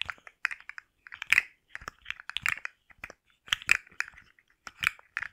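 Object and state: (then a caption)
Plastic articulated slug fidget toy. A rainbow, segmented hard-plastic slug fidget toy with hollow jointed segments is held in the hands, flexed and scratched with long nails. Its segments give off irregular clusters of sharp, dry clicks and light scratching. The clicks are bright and centred around 2.5 kHz, with no low end and almost no ring.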